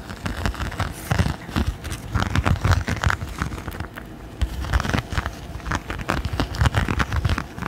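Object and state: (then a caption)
Silicone pot holder. Fingertips and nails scratch and tap the raised, bumpy surface of a thin, flexible, palm-sized red silicone pot holder held in both hands close to the microphone. The result is a dense run of soft, low, dull scratches and quick taps with crackly texture that fade almost instantly, with a brief quieter stretch near the middle.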